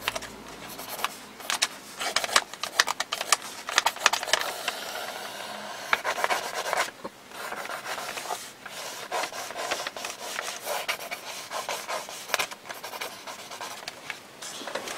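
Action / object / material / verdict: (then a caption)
scrape / paper notebook page with ballpoint pen / paper / none. A ballpoint pen held in the fingers scratches sketchy ink lines across a single page of an open lined paper notebook lying flat on a paint-covered desk. Quick, dry, bright scraping strokes come in dense bursts, with a longer, smoother drag around the middle and short pauses between passes. There is almost no low end, and each stroke stops dead with no ring.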